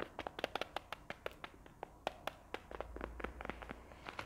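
A palm-sized, closed, printed faux leather wallet holding contents is tapped and scratched on its surface with long nails. About 23 short, dry taps ring out in quick succession, with light scratching between them and a faint low hum in the background during the second half.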